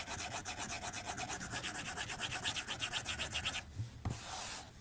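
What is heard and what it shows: A white plastic stylus tip is drawn across a solid, flat glass tablet screen in continuous strokes, making a bright, scratchy rubbing sound that repeats about four times per second. After about three and a half seconds the strokes stop, followed by a soft low tap and a brief, breathy high hiss.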